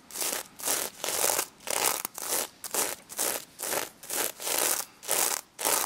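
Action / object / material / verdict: scrape / sequin-covered plush toy / sequins / none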